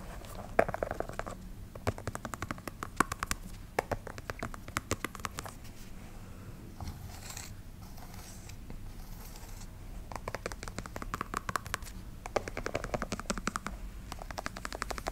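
A black canvas sneaker with a white rubber sole is held close to the mic while long nails tap rapidly on the rubber sole edge and the canvas side. Bursts of quick, crisp clicks alternate with a softer, scratchier stretch in the middle of the clip.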